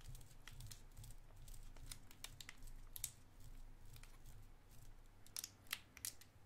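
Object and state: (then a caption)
Cellophane candy wrapper. A small clear cellophane wrapper, partly opened around a white round candy, is crinkled with the fingertips. Soft, dense crinkling gives way to crisp, bright crackles and sharp snaps that stop quickly, over a steady low rumble. The louder snaps cluster toward the end.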